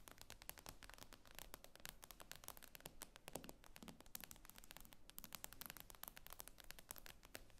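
Long painted nails tap and scratch the glass screen of an iPad lying flat on a wooden table. Quick, sharp, bright clicks follow one another in a dense, uneven stream over a soft, low-level scratching hiss. Each tap dies away almost instantly.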